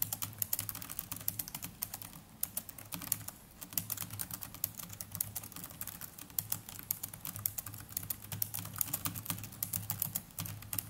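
Continuous fingertip typing with both hands on a small black netbook's plastic chiclet keyboard, producing rapid, dense, bright clicks with very short decay. A steady low hum runs underneath.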